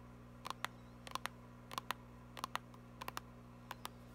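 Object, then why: Small plastic cream tube tapped with fingernails. A small, filled, white Lancôme plastic cream tube is tapped and scratched with long nails. Sharp, dry clicky taps come in loose, irregular clusters, each with a tone near 1 kHz and a bright edge that dies away almost instantly. A steady low hum sits underneath throughout.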